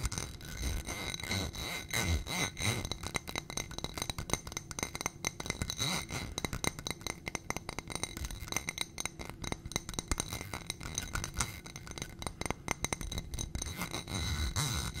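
A ribbed glass footed dish with a gold rim and white contents is held close to the microphone and tapped and scratched with long nails. Quick, dense clinks and scrapes run without pause for the whole clip. The hits are short and dry, with a bright glassy ring over low handling rumble.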